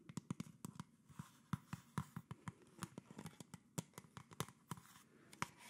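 Fingertips and nails tap and scratch the plastic body and red label of a hollow PET plastic Coca-Cola soda bottle with its cap on, held up near the face. About two dozen quick, dry taps give low, hollow thumps with bright clicking edges and almost no ring. Soft scratching rustles fill the gaps between them.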